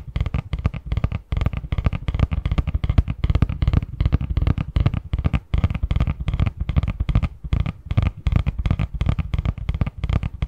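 Fingertips tap and scratch rapidly on the front of a medium-size, hollow, printed cardboard Christmas box lid held in both hands. The result is a dense, steady stream of short, dull, hollow thumps with a deep low body around 70 Hz and almost no ring, with light scratchy texture running between the taps.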